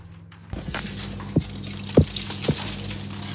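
A brioche loaf, just out of the oven after being covered in tin foil, is tapped three times, giving short, dull, hollow thumps over a steady low hum. The hollow sound shows the bread is baked through.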